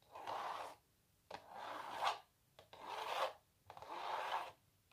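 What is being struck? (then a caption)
Printed canvas stretched on a wooden frame. Long natural nails scratch across a small, hollow printed canvas stretched on a wooden frame. Four slow, separate scraping strokes give a dry, raspy rub centered in the midrange with a bright hissy edge. Brief quiet gaps and faint taps fall between the strokes.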